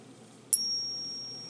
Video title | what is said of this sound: Another Visit with Spencer | does have a ring to it when you tap it